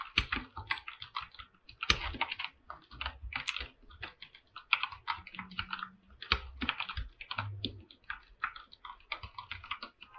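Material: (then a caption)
Plastic. Fingertips of both hands type rapidly on a full-size 104-key mechanical keyboard with an aluminum top plate and white and light-blue PBT plastic keycaps, resting on a pink desk mat. The result is a dense, uneven stream of short, bright clacks from the mechanical switches, with a light low thock under some presses and brief pauses between bursts.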